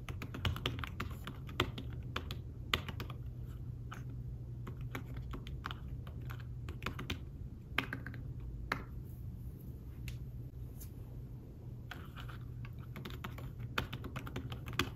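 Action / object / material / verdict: tap / fabric-covered tablet keyboard / fabric / none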